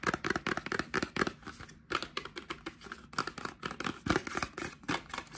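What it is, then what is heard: Cardboard box tapped and scratched. Fingertips and short nails tap and scratch a small, hollow, white printed cardboard Cien Men deodorant box held in both hands. The result is a quick, uneven run of dry, papery taps mixed with light scratching, each tap short with almost no ring.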